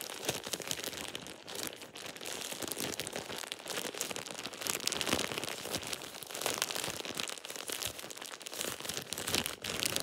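A thin plastic shower cap is balled up and crumpled in both hands, worked with fingertips and nails. It gives a steady, bright crinkling and crackling texture with dense quick snaps and almost no low end, swelling and easing over the ten seconds.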